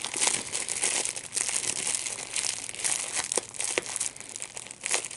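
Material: Plastic.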